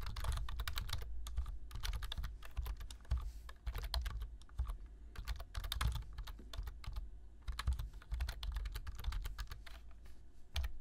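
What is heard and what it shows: Fingertips type continuously on a black plastic low-profile computer keyboard, producing a rapid, uneven stream of short, sharp key clicks with bright tops. A steady low rumble runs underneath, and each click dies away almost instantly.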